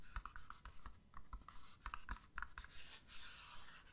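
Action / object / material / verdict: tap / small printed cardboard box with plastic window / cardboard / none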